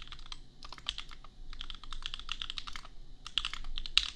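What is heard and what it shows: Fingertips of both hands type on a $250 custom compact mechanical keyboard with Gateron Milky Yellow switches and red/pink plastic keycaps. A steady stream of quick, dry, bright clacks comes in bursts with short pauses, each keystroke sharp and gone almost instantly over a faint low hum.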